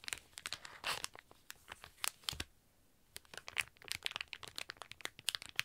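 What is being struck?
Sealed plastic packaging bag.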